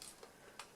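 A plastic coach from a Hornby R2947X NSE 4 VEP Class 423 model train pack is shaken, giving three faint, bright ticking rattles. Something inside it is loose, likely a detailing part that has come off.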